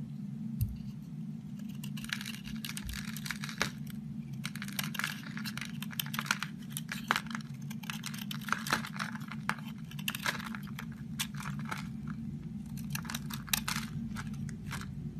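A utility knife blade shaves the top off a solid green and blue oval Disney baby bar soap with a white core, held in an open palm, in long scrapes. Dense, crisp, bright scraping and crackling ticks run throughout over a steady low hum.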